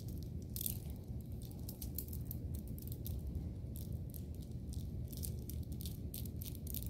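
A small bracelet of round grey, white and brown gemstone beads is held loosely in an open hand with long painted nails and shaken, while a separate lilac bead bracelet is worn on the wrist. The beads rattle against each other in quick, bright clicking bursts over a steady low rumble. The rattling continues throughout.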